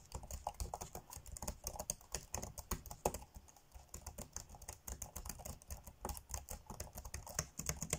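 Fingertips tap quickly on the dark grey plastic chiclet keys of a laptop keyboard while typing. The result is a dense stream of short, dry clicks with soft low thuds and a bright edge, each dying away almost at once.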